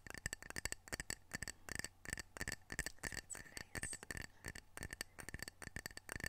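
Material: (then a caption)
Ceramic. Fingernails tap the glazed face of a single small, solid, square ceramic coaster printed "Edmonds Washington," held in the hand. The result is quick, irregular runs of short, dry clicks with a bright ring around 1.8 kHz that dies almost instantly, over a faint low hum.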